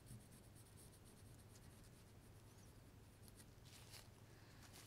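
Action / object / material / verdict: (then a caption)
scrape / pencil on a small block of light wood / wood / none. A pencil draws lines across a small solid block of light wood, partly carved into a trout and held in a gloved hand. It makes a quiet, steady scratchy rub with bright hissy strokes over a constant low hum.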